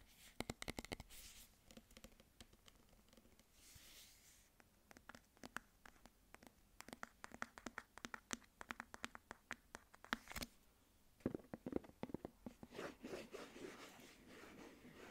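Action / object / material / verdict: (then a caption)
scrape / metal food tin with paper label and plastic lid / metal / none. A medium cylindrical metal food tin with a paper label and a plastic lid on top, hollow and held in hands, is worked over by fingernails that scratch and tap the label, the metal bottom and the lid. Quick, dry clicks and taps come in dense bursts over bright, papery scratching and soft rubbing, with a few louder hollow knocks and brief swishes between them.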